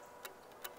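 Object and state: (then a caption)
Arrow nock clicking snugly onto bowstring. An arrow nock clicks snugly onto a bowstring, giving two short, sharp, bright clicks about 0.4 seconds apart over a quiet background. The fit sounds good and secure.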